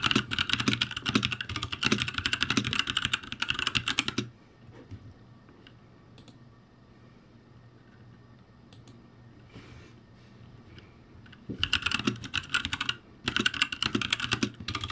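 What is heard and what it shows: Fingertips type quickly on a backlit ROCCAT G65 mechanical keyboard with plastic keycaps, giving dense, bright, clacky keystrokes. The typing stops for about seven seconds of near-silence with a faint hum, then resumes in two more bursts.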